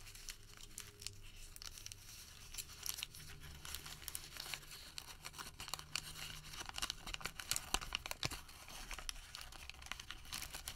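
A crumpled ball of Home Depot thermal paper receipt is opened by fingers and crinkled flat. Dense, bright crackling and crisp crinkles run for about eleven seconds, with sharper snaps toward the end over a faint, steady low hum.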